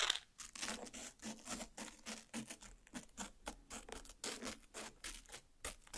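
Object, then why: Cut watermelon half, flesh scratched by long fingernails. Long curved black nails dig into and scratch the torn red pulp of a large cut watermelon half. A steady run of bright, crackly scraping bursts follows, each short and dry-edged with little low end. The strokes rise and fall in quick succession throughout.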